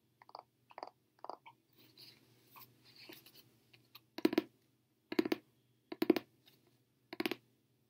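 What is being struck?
Paperback book with card cover.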